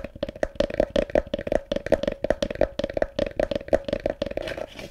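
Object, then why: Small wooden bucket. Fingertips and nails tap and scratch the slats of a small, hollow, empty, light wooden bucket with a rope handle and a WWF logo. Quick, uneven knocks with a steady mid-pitched ring blend with dry scraping. The taps fade almost instantly.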